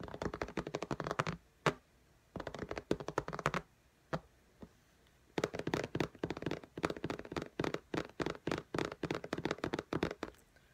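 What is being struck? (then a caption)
Glass tablet screen in a case. Long nails tap rapidly on the glass screen of an iPad in a pink case, producing quick, typing-like clicks in dense bursts. The dry taps stop almost instantly and are separated by a few short pauses and isolated single taps.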